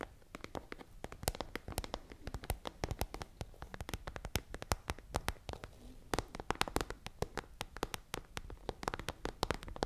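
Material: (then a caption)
Plastic. Long nails tap rapidly on an iridescent holographic plastic pencil case held upright. The result is a fast, irregular stream of sharp, dry clicks that stop instantly with no ring, over a faint crinkly background.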